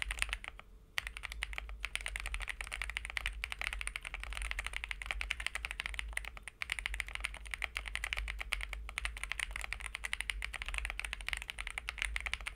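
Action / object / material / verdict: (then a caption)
tap / aluminum-cased mechanical keyboard with plastic keycaps / aluminum, plastic / none. A white Monka A75 75% mechanical keyboard, with a CNC aluminum case, PC plate, linear switches and ABS/PBT plastic keycaps, is typed on steadily with the fingertips of two hands while it rests on a desk mat. After a brief pause in the first second, a dense, continuous stream of crisp, short key clicks and clacks follows, bright in the upper range over a low steady hum.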